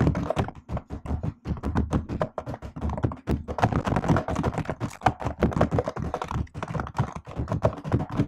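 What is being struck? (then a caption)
Plastic laptop keyboard keys. Long nails type and tap on the plastic keycaps of a MacBook-style laptop keyboard throughout. The result is a dense, uneven stream of quick clicks with a dull, thunky low body and bright, sharp edges, each tap dying away almost at once.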